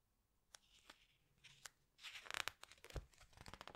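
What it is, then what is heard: Glossy book pages being handled. Fingertips rub and squeeze the glossy paper pages of a large open hardcover book, then turn them. Sparse sharp, bright crinkles and ticks come first. They are followed by a denser burst of crisp rustling and crackling paper from about two seconds onward, with one soft low thump near the three-second mark.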